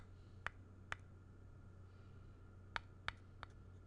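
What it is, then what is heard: Painted wooden block. A thin black pen or stylus tip traces and scratches the flat surface of a square, solid, grey-painted wooden block held in hand. Five faint, sharp ticks sound at uneven intervals, each centred around 1.4 kHz with a bright edge and dying away almost instantly. A steady low hum runs underneath throughout.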